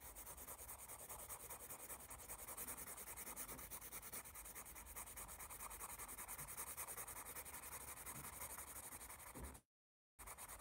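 A graphite pencil rubs back and forth across a page of a thick paper sketchbook pad marked "AS," making shading strokes. A steady, dense, bright scratching continues evenly, then cuts to brief silence near the end before resuming.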